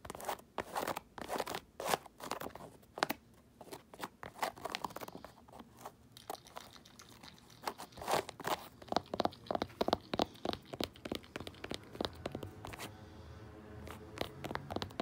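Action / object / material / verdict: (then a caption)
scrape / fabric baseball cap with raised embroidery / fabric / none. Long white pointed acrylic nails scratch and tap a black fabric baseball cap with raised gold and white embroidery, its hollow, soft crown resting on a grey blanket. The result is a quiet run of dry, crisp, crunchy scratches and quick taps, centered in the midrange with little low end and almost no ring. Toward the end it settles into a steadier, rasping scrape.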